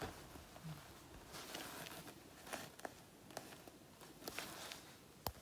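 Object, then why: Faux leather jacket panel. Long natural nails scratch and pick at a black faux leather jacket panel with peeled flakes, making a soft, dry crackling rasp. About seven sharp, bright ticks and snaps stand out above the quiet scratching, each dying away almost instantly.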